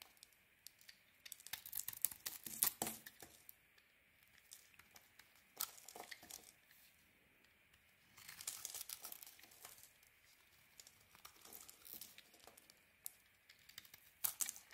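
A metal blade held in the fingers shaves along the edges of a solid white soap bar with a red-patterned edge, and flakes fall away. Quiet bursts of crisp, bright scraping and crackling come in clusters, separated by near-silent pauses.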